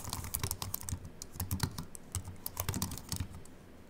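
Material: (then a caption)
Aluminium, plastic. Continuous fingertip typing with both hands on a slim aluminium Apple Mac keyboard with white plastic keys. Quick, soft key clicks with bright ticks patter over a low thud beneath.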